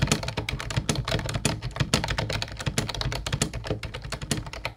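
Fingertips of both hands type quickly on a mint-blue plastic Ubotie retro keyboard with round white keycaps. The result is a dense, steady run of short, sharp clacks, each with a low hollow thump beneath a bright click.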